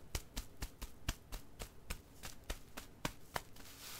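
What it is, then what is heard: Plastic-backed disposable diaper. A single crumpled, striped Goodnites XL disposable pull-up diaper with a crinkly plastic outer layer, hollow and unused, lies on carpet and is patted and tapped with flat fingertips. Fourteen short, soft taps land at a steady pace, each giving a dull low thump with a brief crisp crinkle that dies away almost at once.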